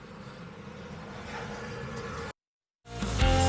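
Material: Nothing is struck.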